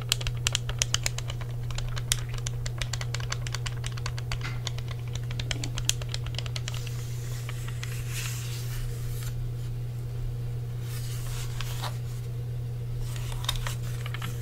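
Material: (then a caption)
Plastic. Fingertips tap the face and shell of an original black plastic Xbox "Duke" controller, a hollow, hand-sized pad with a cable, and press its buttons, including on the back side. Rapid, bright, clicky taps come thick in the first half, then thin out into sparser scratchy touches. A steady low hum runs underneath the whole time.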